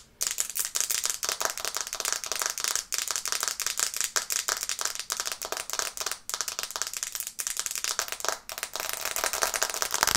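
Long red nails tap fast on the glass screen of a black smartphone held in both hands above the microphone. The result is a dense, rapid stream of sharp, bright clicks with almost no low end, each tap dying away almost instantly, with only a few brief pauses in the tapping.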